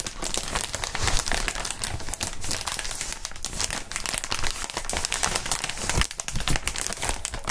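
Gloved hands rub and crinkle clear plastic inflatable air-column packaging made of hollow tubes. A dense, continuous crinkling fills the whole clip, with bright crackles over soft low thumps and rustles.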